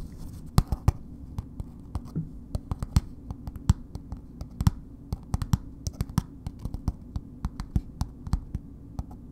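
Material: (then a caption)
Soap, paper. Long nails tap and lightly scratch a solid bar of soap in a red paper wrapper, held upright. A slow, uneven run of short, dry clicks with no ring sits over a faint, low, papery scratching hum throughout.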